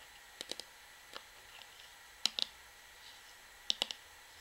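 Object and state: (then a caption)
Plastic shampoo bottle tapped with fingernails. Long fingernails tap a hollow, medium-sized orange plastic Sunsilk shampoo bottle near the top and along its body. Short, bright, dry clicks come in irregular little clusters with quiet pauses between them. Each click dies away at once, without any ring.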